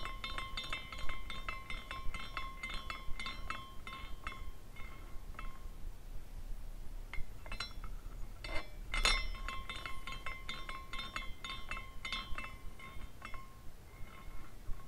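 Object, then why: Small glass carousel ornament. A small clear glass carousel ornament is spun by fingers twisting its top, and its glass horses clink together in a quick, uneven run of light, bright chinks with ringing tones. The tinkling thins out for a brief lull midway, returns with one sharper clink, and carries on over a faint low background hum.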